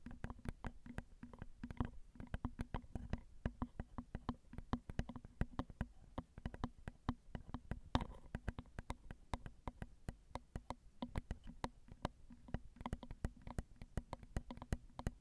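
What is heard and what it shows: Long acrylic nails tap rapidly and steadily on the metal grilles of a Zoom recorder's XY microphone, whose small, hollow metal-mesh capsules turn each tap into a dull, thumpy click. The dozens of short, dry hits die away almost instantly and sit mostly in the low range over a faint low hum, with very little brightness.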